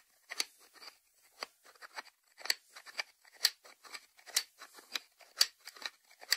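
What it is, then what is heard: Ceramic lidded salt dish, tapped. Fingertips and short nails tap rapidly on the ceramic lid of a small, hollow, white lidded salt dish resting on a wooden board. The result is a quiet, uneven stream of crisp, bright clicks with a high ceramic tone that stop almost instantly, with louder taps standing out among softer ones and almost no low end.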